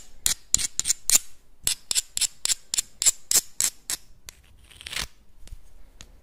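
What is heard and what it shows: Small, hard, hollow clam shells held in both hands are rubbed and scraped against each other and scratched with the nails. About sixteen short, bright, scratchy bursts come in an uneven rhythm, with a longer rasping scrape near the end before the scratching fades into softer, quieter strokes. Each burst is dry and high-pitched and stops at once, with almost no ring.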